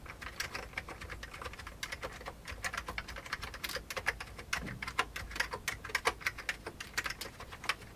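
Fingertips of both hands type steadily on a full-size vintage beige plastic computer keyboard. A quick, continuous stream of short, bright key clicks centered near 2 kHz fills the clip, with a few louder strikes and almost no ring after each press.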